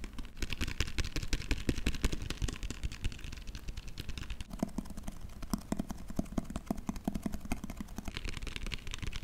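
A large white TOA plastic latex adhesive bottle with a screw cap, hollow and likely full, is held close and tapped fast with long fingernails on its body and cap. The result is a rapid, steady stream of short, dull, low-heavy taps with crisp clicky edges that die away almost instantly.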